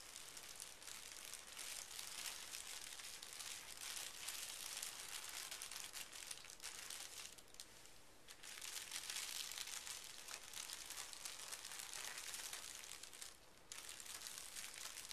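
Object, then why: Thin tissue paper sheet. A large flat sheet of thin pink tissue paper lies on carpet while both hands smooth and rub it with fingertips and short nails. A steady, bright crinkling and rustling rasp continues throughout, with brief softer dips near 8 and 13.5 seconds.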